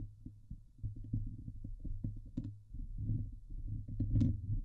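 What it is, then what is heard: Metal mesh microphone grille being scratched. Long nails scratch the hollow steel mesh dome grille of a Blue Yeti microphone, producing a steady run of deep, boomy rubbing thumps with a low hum underneath. A few harsher, brighter scrapes cut through, with the loudest one near the end.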